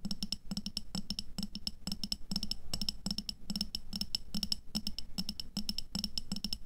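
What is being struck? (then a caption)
Glass jar filled with water beads. Long nails tap rapidly on an upright clear glass jar full of red aqua pearls (water beads), held in both hands. The taps come in quick bursts of short, bright clicks with a high glassy ring and a soft low knock underneath, each dying away almost instantly.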